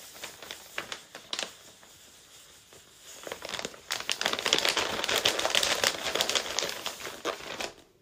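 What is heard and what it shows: A large printed paper blind bag with a Hello Kitty picture, hollow and filled with small wrapped packets, lies flat on a cork board while the fingertips and palms of both hands press and rub its surface, then lift and handle it. Quiet, scattered crinkles come first, then about halfway through the paper gives a louder, denser, bright crinkling that keeps going and fades out at the end.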